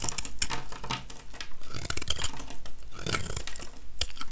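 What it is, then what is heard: Dry soap bar being scraped. A metal utility-knife blade scrapes shavings off the surface of a small, solid, dry, oval yellow soap bar held in one hand. A quick, steady run of about twenty short, dry scraping strokes sounds, each a crisp, crackly rasp over a low, soft body. Shavings peel away from the bar with each pass.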